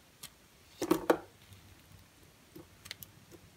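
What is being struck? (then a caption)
Bar of soap cut with a knife blade. A utility knife blade slices through a narrow slab of pale green dry bar soap. Two louder, crisp crunching cuts land close together near the one-second mark, with a dry, short-lived texture centered in the low mids. A few faint ticks follow in near silence.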